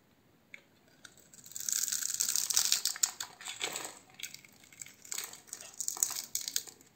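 A metal utility-knife blade scrapes and cuts across a solid, palm-sized oval pink bar of soap held in one hand, its surface scored into a grid, shaving off small soap cubes. The sound is a series of dry, bright, crackly scrapes and crisp crunching cuts in uneven bursts, with almost no low end and no ring after each cut.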